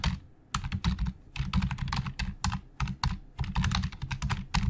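Fingertips of both hands type very fast on the hollow plastic keys of a black plastic Logitech full-size keyboard resting on a desk. Rapid bursts of dry clicking and clacking come in quick flurries with brief pauses between them. Each keystroke has a low, hollow thud under a bright tick and dies away almost instantly.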